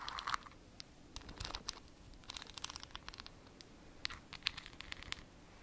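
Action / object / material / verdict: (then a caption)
scrape / small glass jar with plastic lid / glass / none. Long acrylic nails scratch the side and white plastic lid of a small clear glass jar filled with a glittery substance. The result is a quiet run of dry, crisp scratches and sharp little ticks, bright and high with almost no low end, with a few louder clicks standing out from the rest.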